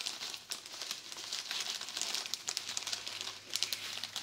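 Fingertips with painted nails press, rub and crinkle a flat clear plastic bag of dry spaghetti with a paper label lying on a dark countertop. The result is a steady, bright, dense crinkling with many quick crackles and almost no low end, running for about four seconds.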